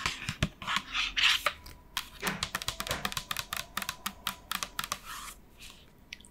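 Long nails tap a large, hollow pink and white plastic lotion bottle with a black pump, held in both hands, in quick, typing-like bursts. A brief broadband swishing wash opens the clip, then a rapid, uneven run of sharp, bright plastic clicks follows, each dying away almost instantly.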